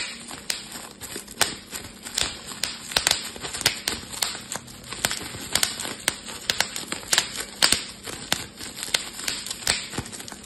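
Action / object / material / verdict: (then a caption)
tap / plastic bubble wrap / plastic / none. A clear, air-filled plastic bubble wrap sheet is held in both hands while fingers pinch and pop the bubbles. About thirty sharp, bright pops snap out at an uneven pace, with soft crinkling of the plastic between them.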